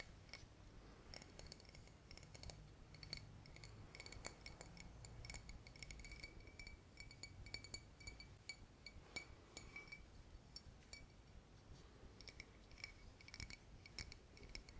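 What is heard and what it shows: Fingertips tap and scratch a clear glass VOSS bottle with a silver cap, partly full of water and held close. The result is a steady stream of quick, light clinks with bright, short-ringing tones around 2 kHz over a soft low rumble.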